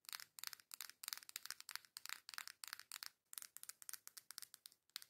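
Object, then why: Cardboard makeup palette. Long nails tap and scratch the front and sides of a coral cardboard makeup face palette held by its edges, possibly with slight shaking. Rapid bursts of dry, crinkly scratching and tapping come in quick succession, bright and papery with almost no low end. Each burst cuts off sharply with no ring.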